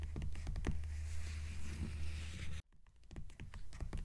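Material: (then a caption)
Paper. Long nails on both hands tap quickly on the paper dust jacket of a purple hardcover book lying flat on a table. The rapid, uneven patter of short, dull taps sits over a deep low rumble. At about 2.6 seconds the sound cuts out briefly, then quieter taps resume.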